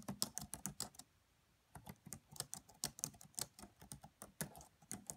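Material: Plastic.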